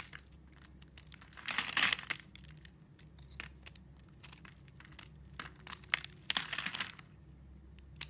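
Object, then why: Bar of soap. A metal blade cuts and scrapes a solid rectangular bar of blue soap, scored into slices and held in the hand, shaving off strips. Bright, dry crinkling and crunching scrapes come in irregular bursts, with louder clusters near two seconds and again around six to seven seconds, over a quiet low hum.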